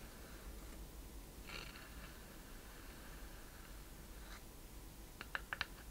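Long painted nails scratch across the wooden surface of a small hollow wooden treasure chest with a metal latch and metal corners, held in both hands, making soft, dry, writing-like scratching. The scratching is quiet against a low background hum, then four quick, bright taps on the wood close the clip.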